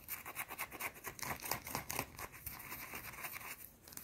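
A small, round, solid white soap bar held in the hands is scratched and tapped with long dark teal nails. The result is a fast, uneven run of dry, bright scratches and clicks with very little low end.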